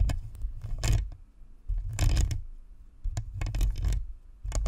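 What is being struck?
Plastic and metal-mesh microphone.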